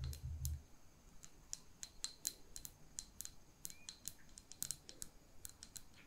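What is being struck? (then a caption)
Small glass candle jar. Long painted nails tap on a small lit glass jar candle with a ribbon bow at its neck, held in both hands. A steady run of quick, bright, clicky taps with a faint high glassy tone, each cutting off almost at once, over a quiet background with a brief low rumble at the start.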